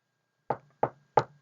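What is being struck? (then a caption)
Desk top. A desk is knocked three times with the knuckles, giving three short, dry knocks with a woody midrange body and a faint low thump. Each knock dies away almost at once, leaving a brief rattle and quiet gaps between them.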